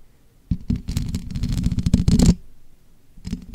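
Long manicured nails and fingertips tap and scratch the rounded, hollow, perforated metal mesh grille of a bare black condenser microphone. It makes a dense run of close, boomy low thumps mixed with brief bright scratchy clicks, which stops abruptly, leaves a quiet pause, and then resumes with a few softer taps.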